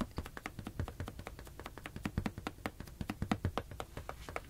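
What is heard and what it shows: A medium teal latex balloon, hollow and air-filled, is held in one hand and tapped with the fingertips close to the microphones. The result is a quick, steady run of soft, dull thumps with a hollow, low-weighted body that die away almost instantly, with little brightness.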